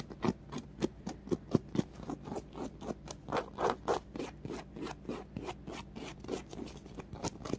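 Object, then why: Polyurethane foam squishy toy. Painted fingernails scratch a small, solid polyurethane foam popcorn-box squishy with a yellow bumpy popcorn top and a red-and-white striped base. The result is a quick, uneven run of short, soft, dry rasping scrapes that are mostly low-mid, with little brightness and no ring after each stroke.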